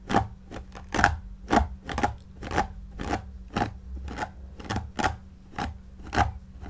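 A white pin-bristle paddle brush held in the hand is stroked repeatedly through the long synthetic shag pile of a shaggy faux fur cushion, with the other hand resting on the pile. About thirteen dry, scratchy brushing swishes come at an uneven pace of roughly two per second. Each one is short and rustling, with a faint low thump and no ring afterward.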